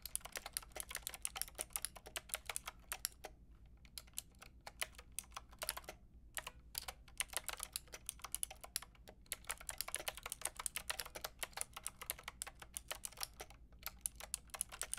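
Long painted nails and fingertips type on a white and pink Lofree mechanical keyboard with round plastic keycaps. The sharp, bright, dry clicks come in quick, steady runs with brief pauses near 4, 6 and 13.5 seconds, over a faint low hum.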